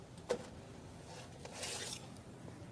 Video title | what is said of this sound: STM3401 Quick bread & Yeast Products | thump the bottom and it should sound hollow